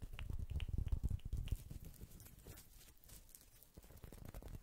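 A small, round, flat woven straw or rattan coaster is held beside the microphone and scratched and pattered with fingertips and nails. Soft, irregular low taps and scratches come fast in the first second and a half with faint bright clicks, then thin out to quieter rustling before picking up again at the end.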